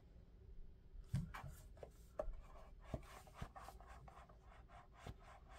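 Fingertips rub and tap the surface and strap of a lavender molded-foam clog held close up. Soft, scratchy rubbing runs throughout, broken by short, dull taps that fade almost at once.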